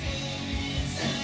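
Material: Nothing is struck.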